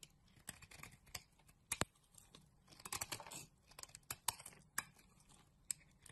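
A utility knife blade scrapes flakes off a solid green bar of soap held in the palm. Quiet, dry, bright scraping strokes and crisp clicks come in irregular bursts, each dying away almost instantly with little low end.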